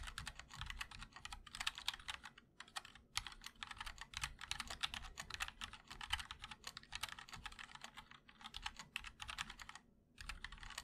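A 60% MOD-L mechanical keyboard with linear switches, a black aluminum case and white and black ABS keycaps is typed on continuously with the fingertips of both hands. The result is a rapid, steady stream of short, bright clicky clacks centered around 3 kHz, each decaying almost instantly, with only a couple of brief pauses.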